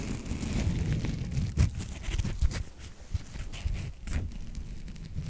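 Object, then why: Open-cell foam sponge block. Fingertips and nails scratch the top surface of a solid, rectangular white open-cell foam sponge block held upright in one hand. The result is a dense, muffled, low rumbling rasp with bursts of brighter crackle that rise and fall throughout.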